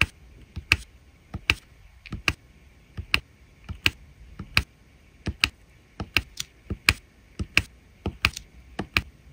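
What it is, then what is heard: Resin drills tapped onto diamond painting canvas. A drill pen tip taps small resin rhinestone drills down one at a time onto the adhesive surface of a diamond painting canvas filled with drills. Seventeen short, dry, bright clicks come at an uneven, unhurried pace, each dying away almost instantly over a faint steady background.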